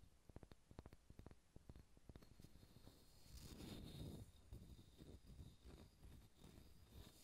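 Fingernails tap and scratch a solid, pale pine wooden ball. Quick, dull, low-pitched taps come first, then a longer rough scratching swell with a bright hiss, followed by more scattered taps and scratches, all soft and close.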